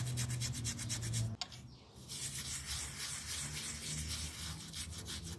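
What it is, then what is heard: Small pile rug being scrubbed. A plastic toothbrush scrubs back and forth over a small, round miniature pile carpet that is dirty and partly wet, lying flat on a tile floor and held down by fingertips. Rhythmic, bright bristle-rubbing strokes sit over a low, steady rumble, with a brief drop in the scrubbing just before the middle before it resumes evenly.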